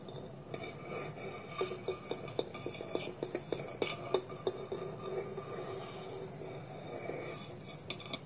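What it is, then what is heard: Wooden bowl with lid, tapped. Fingertips and nails tap a small, round, hollow, polished wooden bowl, empty, with its wooden lid held tilted against it. Quick hollow wooden knocks with a short ring around 370 Hz cluster in the middle of the clip over a soft, continuous rustle. The taps die away almost instantly.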